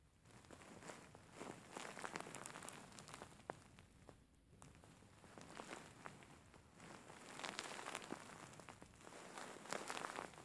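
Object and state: Faux fur pillow being scratched.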